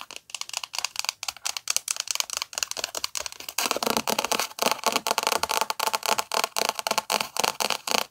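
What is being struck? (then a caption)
Paperback book with paper cover. Long nails scratch and tap the paper cover and spine of a thick paperback book held up in the air. Dry, bright, crackly scratches and quick taps come in an irregular rapid stream, with almost no low end. The sound grows noticeably louder and denser after about three and a half seconds.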